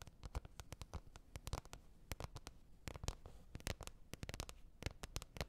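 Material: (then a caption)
Plastic. Long red nails tap rapidly and unevenly on a green plastic container lid. Each tap is a short, dry click with a soft low thump and a bright edge, dying away almost instantly at a quiet level.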